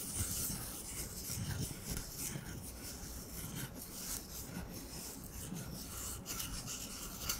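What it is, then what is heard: Cardboard paper towel tube being rubbed. Fingertips slowly rub and scratch an empty, hollow brown cardboard paper towel roll. The result is a soft, continuous scratchy rustle with a hollow low rumble and a bright, airy hiss.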